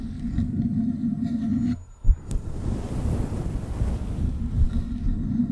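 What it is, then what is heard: Faux fur microphone windscreen being scratched. Long acrylic nails and fingertips scratch and rub a soft, hollow, fluffy grey-white faux fur windscreen covering a black USB microphone. The result is a dense, muffled low rumble of rustling scratches, broken by a brief quiet gap just before two seconds, a sharp thump and a bright click, before the steady rubbing resumes.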